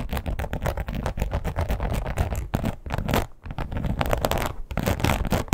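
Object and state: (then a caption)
Textured leather wallet. Long almond-shaped acrylic nails with black tips scratch and tap the textured surface of a red crocodile-embossed leather wallet with a strap tab, lying flat on a bed. A dense, steady run of quick, dry scratching and soft tapping carries a low, muffled weight with brief pauses, and each stroke stops almost instantly with no ring.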